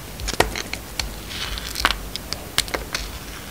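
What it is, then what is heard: Glitter-coated bar soap being shaved. A utility knife blade shaves slices from a solid, hand-sized bar of soap with a gold glitter coating and a yellow-white striped inside. The clip is a series of short, crisp, bright cuts with soft crackles and scrapes, each dying out almost instantly over a faint hiss.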